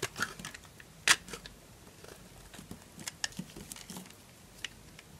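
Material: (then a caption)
Soap. A small knife carves flakes from a solid yellow bar of dry soap held in the palm, scraping and cutting through it. Quiet, bright, crisp crunches and clicks are scattered across the clip, with one sharper snap near the one-second mark. Each sound dies away almost instantly.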